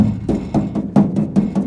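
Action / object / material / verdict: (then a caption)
tap / steel truck door / steel / slight rattle. Taps around the steel door of a 1950 Chevy 3100 truck, after its window mechanism was tightened with a stainless steel washer, give short hollow knocks centered near 200 Hz with a faint rattle. The slight rattle is judged acceptable because the door panel will press against it and keep it down.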